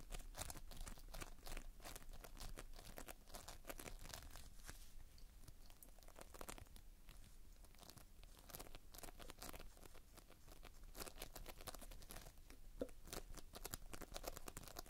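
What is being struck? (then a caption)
Foam beads in sticky binder. Fingertips squeeze and press into a heap of multicolored Playfoam, foam beads held in a sticky binder. The result is a quiet, continuous stream of dense crunching and crinkling with many tiny crackles and pops throughout, weighted toward the low end with bright clicking edges.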